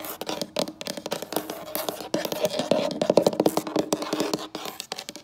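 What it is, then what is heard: Wooden tabletop. Long acrylic nail tips scratch and tap quickly across a solid, light wood-look wooden tabletop in an uneven rhythm. Dry, short clicks mix with bright scratchy strokes that have a woody tone near 570 Hz. There is little low end, and each tap dies away almost at once.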